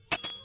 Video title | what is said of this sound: Napatunog din Ng maganda | O, iba to. Iba talaga yung magandang loob.